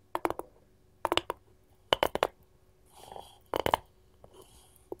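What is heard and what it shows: A wooden cutting board is tapped with gold finger rings, giving quick bursts of sharp, clicky taps with a mid-range knock and bright metallic edges. The taps come in short clusters separated by brief pauses, with a soft scratchy rustle in between and almost no ring after each tap.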